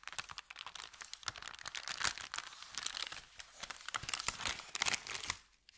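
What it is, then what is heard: Empty paper bag being crumpled. Hands flex, crumple and crinkle an empty, thin kraft paper bakery bag. Dense, bright crackling and rustling bursts run almost continuously, with very little low end. The crinkling stops abruptly near the end, leaving a couple of faint ticks.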